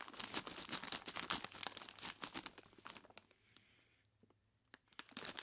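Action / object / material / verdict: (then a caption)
scrape / plastic bag full of ice cubes / plastic, ice / none. A large clear plastic bag, tied at the top and full of solid ice cubes, is squeezed and rubbed with the fingertips of both hands. Dense, bright plastic crinkling and crunching of ice fill the first three seconds, fade to near silence, then return in a few sharp bursts at the end.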